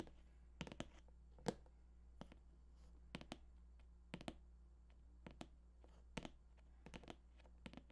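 Short fingertips tap the glossy top surface of a hollow cardboard PS4 box, making sharp, dry taps that cut off almost instantly. The taps come in quick pairs and single strikes over a low, steady hum.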